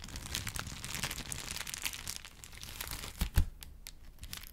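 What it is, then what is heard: Paper sheet being crinkled. A thin white paper sheet is held in the hands and handled with the fingertips, crinkling and sounding as if it is tearing. A steady stream of dry, bright crackles runs throughout, broken near the end by two louder, low thumps before the crinkling settles back to a quieter rustle.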